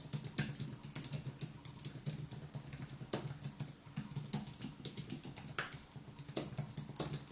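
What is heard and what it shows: Fingertips type continuously on the white plastic keys of a thin aluminium wireless keyboard. The result is a steady run of soft, quick clicks with a low thud under each keystroke. Brighter, louder taps stand out now and then above the quiet typing.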